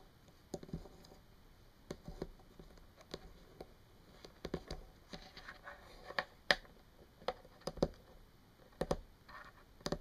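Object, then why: Plastic marker pen. Long painted fingernails tap a small, hollow plastic Sharpie marker lying on a table, making 14 sharp, dry plastic clicks at an uneven pace over about ten seconds. Faint scratching fills some gaps, and each tap dies away almost instantly.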